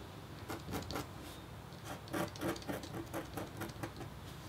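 A metal-tipped, red-handled stylus scratches a flat, thin, solid black-coated copper foil scratch board lying on a table partly under a white paper sheet. The strokes come as quick, uneven, repeated scraping rasps, each a short dry scratch with a faint tonal edge near 600 Hz and brief bright streaks. They play over a quiet, steady background.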